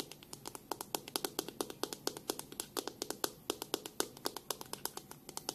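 Long nails tap on the back of a black plastic detangling hairbrush and run along its dense plastic bristles. The result is a quick, steady series of sharp, dry clicks with a bright, crisp edge and almost no ring, over a faint soft scratchy hiss.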